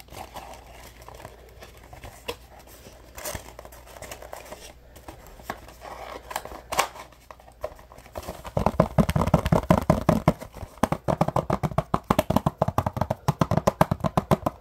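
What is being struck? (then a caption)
Small cardboard box. A small, hollow, printed cardboard product box is held in one hand and worked with the fingertips. For the first eight seconds or so, quiet scratching and light crinkling brush across its surface. Then it breaks into louder, rapid, dull tapping with a hollow, low-mid knock that continues to the end.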